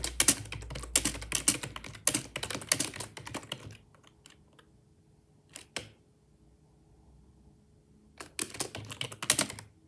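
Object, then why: Plastic computer keyboard. Fingertips type steadily on a black plastic, full-size, hollow-bodied wireless Microsoft ergonomic keyboard. Bright, clicky keystrokes rattle in quick irregular runs for nearly four seconds, then stop, leaving a faint low hum broken by a brief pair of taps. The typing resumes in a fast flurry near the end.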